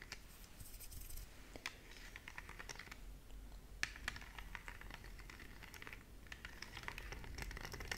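Long nails tap and scratch across the colored rubber buttons and edges of a small, hollow plastic LED remote control. The result is quiet, dense, short clicky taps over a bright, scratchy rustle centered near 2 kHz, with a faint low rumble underneath.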